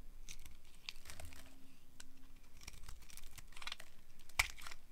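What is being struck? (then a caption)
Bar of soap cut with a knife. A hand-sized solid bar of dry pink-red striped soap, held in the palm, is carved and scraped with a small metal knife blade, cutting off thin crumbly slices. Repeated crisp, dry cutting and scraping strokes crackle with bright, high texture over a low rumble. A sharper snap comes near the end.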